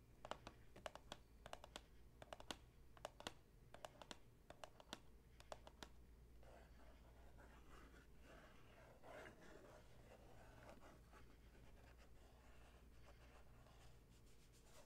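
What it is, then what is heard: Cardboard tea box. Long nails tap and scratch the front face of a hollow Tazo Zen cardboard tea box, about 15 cm tall, held up in the hand. For the first six seconds, sharp, dry, quickly fading clicky taps come in quick bursts. The sound then turns into softer, continuous papery scratching over a steady low hum.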